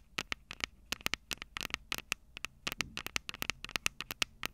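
Long purple acrylic nails tap and scratch the two metal microphone capsules of a small black plastic Tascam DR-05 handheld recorder held upright. A rapid, uneven series of sharp, dry clicks and brief scratches follows, bright and thin with almost no low end. Each one stops instantly against a faint, steady low hiss.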